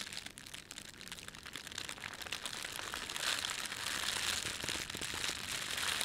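Fingertips crumple and rub a thin, red-and-white printed plastic bakery bread bag, producing a steady stream of bright, dry crinkles and crackles. The crinkling starts fairly soft and grows louder and denser after the midpoint, with almost no low end.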